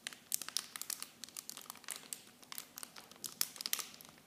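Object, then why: Thin plastic film packaging. Clear plastic packaging wrapped around miniature blue Nivea bottles is squeezed and crinkled by fingers with long painted nails. The result is a quiet, dense run of sharp, bright crackles and crinkles with almost no low end, each snap dying away instantly.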